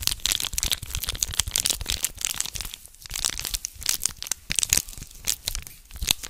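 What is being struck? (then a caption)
Small foil packet. A small red foil condom wrapper is held in both hands close to the mic while fingertips tear and crinkle it. Dense, bright crackling and sharp crinkly snaps dominate, with quick dry transients that stop almost instantly. There are brief quieter pauses between bursts of handling.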